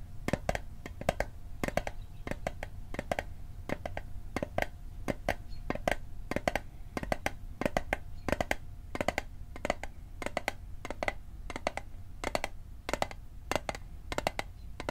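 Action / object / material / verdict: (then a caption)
tap / small hollow metal mint tin / thin metal / none. Fingertips tap the sides of a small, hollow, rectangular metal Altoids mint tin held sideways, making a fast, irregular stream of dozens of sharp, dry clicks over a low background rumble. Each tap is a brief, bright tick with a faint metallic tone near 690 Hz that dies away almost instantly.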